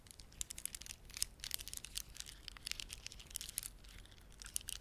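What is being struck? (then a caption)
Plastic beaded ornament. A red, dark blue and white plastic beaded ornament is held in both hands while fingertips press and rub the beads together. The result is a quiet, irregular stream of sharp, bright clicks and crinkly ticks that stop instantly, over a faint low rumble.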